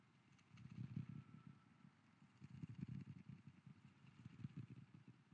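A wooden lid is tapped as an ASMR trigger, with an echo effect added. Quiet clusters of quick, dull, low-pitched taps come in uneven bursts, each fading into a soft, muffled echo.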